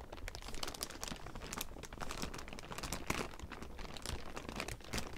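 A large heap of thin clear plastic sheeting is crumpled and scratched with the fingertips of both hands. It makes a continuous, dense crinkling with sharp bright crackles over a low rustle, keeping a steady level throughout.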